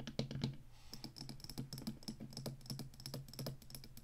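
Long fingernails rapidly tap the tall plastic stick of a black Atari joystick controller and scratch its ridged, hollow plastic base. The result is a steady run of quick, dry clicks with a hollow low thump under bright ticks, each dying away almost at once.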